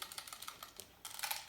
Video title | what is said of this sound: WHICH MAGS DO YOU USE FOR AIRSOFT? | if you hear anything like that a little rattle